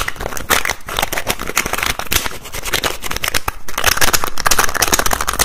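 Fingertips rapidly tap and twist the teal-green plastic cap of a white plastic bottle. The result is a dense, continuous run of quick plastic clicks, taps and scrapes with a bright, crackly edge over low thumping, steady in loudness with no pauses throughout.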